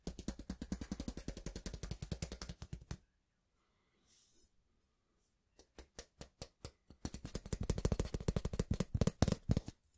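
A long, flat, thin stainless steel ruler is held at an angle over a microphone while fingertips and nails tap and scratch along its length, sometimes flexing it. Rapid, dull taps run for about three seconds, then a near-silent pause with a faint scratch. Scattered taps follow and build back into a dense run, about 54 short hits in all.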